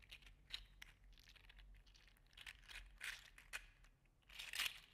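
A hand-sized, hollow-segmented, gold-green 3D printed plastic (likely PLA) articulated slug toy is held in one hand and flexed and squeezed with the fingers, so its interlocking segments click and rub together. The result is a quiet, bright, dry crackle of crinkly clicks and scraping rustles with no ring, coming in uneven bursts and growing loudest near the end.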